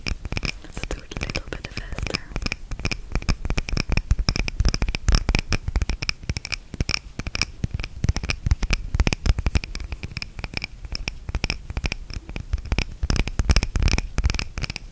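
Long red-painted nails rapidly tap and scratch the glass of a small clear glass candle holder filled with red wax. The result is a dense, continuous stream of short, sharp clicks and scratchy scraping with no lingering ring.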